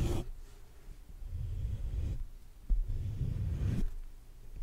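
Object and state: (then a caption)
Metal mesh microphone grille being rubbed. Fingertips slowly rub and scratch the black metal mesh grille of a large hollow condenser microphone. The result is a deep, muffled rumbling scrape that swells and fades in two long strokes, with one soft thump between them and almost nothing in the highs.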